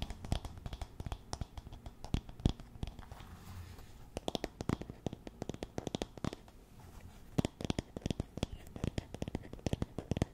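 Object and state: Wooden paddle hairbrush.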